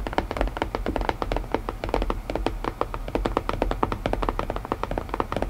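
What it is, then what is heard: Wooden puzzle box. Fingertips tap rapidly and steadily on a wooden puzzle box, making a quick series of short, dry knocks. Each tap dies away almost instantly, with a hollow midrange tone around 490 Hz over a soft low thump.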